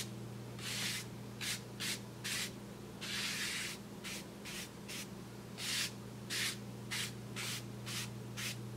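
A paintbrush sweeps repeatedly across a large, flat brown kraft paper bag held flat with the fingertips of the other hand. Each stroke makes a soft, bright, breathy swish, some short and some longer, with brief pauses between them. A steady low hum runs underneath throughout.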